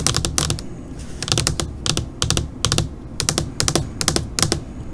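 Long pointed nails of both hands tap rapidly on a flat black LCD computer monitor screen, like typing. Quick, dry, bright clicks come in short bursts and pauses over a steady low hum, each tap dying away almost at once.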